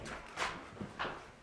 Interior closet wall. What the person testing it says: I was knocking on it and it was Hollow